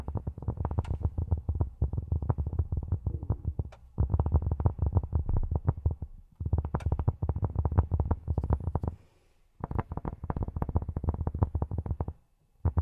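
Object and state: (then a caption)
Cork tapped with silicone finger pads. Cork is tapped with silicone rubber pads on the fingertips in four quick runs of rapid taps separated by brief pauses. Each tap is a soft, dull, low thud with almost no ring and no high-frequency click.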